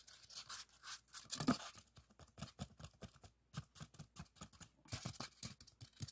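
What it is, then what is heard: Styrofoam block. A long, solid white expanded polystyrene block is scratched along its top with fingertips and nails. The result is a quiet, steady run of short, dry scratching strokes with a squeaky, bright edge. There is a brief pause near the middle before the strokes resume.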